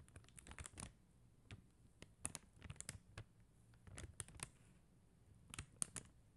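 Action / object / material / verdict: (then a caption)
tap / plastic rhinestone gems on a sticker sheet / plastic / none. Long mint-green nails scratch and tap a flat plastic rhinestone sticker sheet of blue and clear faceted plastic gems on a white backing. Quiet, sharp, bright clicks and scratchy ticks come in irregular clusters separated by near-silent pauses, each one dying away instantly.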